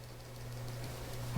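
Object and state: Nothing is struck.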